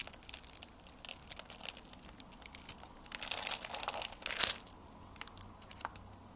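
A metal blade scrapes and cuts a hand-held, solid blue and white striped bar of soap that has been pre-scored into a grid, flaking off small cubes. Dry, bright, crunchy crackles and scrapes come in quick bursts and swell into a louder, denser crunch before settling back to lighter scraping.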